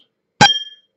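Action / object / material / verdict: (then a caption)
tap / drinking glass filled with water / glass / degassed. A glass of previously boiled, degassed water is tapped once, giving a clear, bright clink that rings at about 3.2 kHz and fades over roughly half a second. The ring is clearer than that of fresh tap water because boiling removed the dissolved gases.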